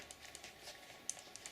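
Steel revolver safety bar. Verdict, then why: Normal. A polished stainless steel .500 Magnum revolver is shaken, and its internal safety bar, which blocks the hammer so the gun does not fire if dropped, rattles with about seven light, bright metallic clicks. This rattle is normal for the gun.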